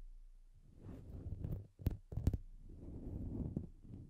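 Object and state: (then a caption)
Synthetic fur microphone windscreen. Fingertips of both hands stroke, pick and pull at the strands of a grey-white fluffy faux-fur windscreen covering a Blue Yeti microphone. The close handling produces soft, muffled, low rustling and rumbling, with a couple of sharper thumps near the middle. The sound stays dull and bass-heavy, with almost no bright content.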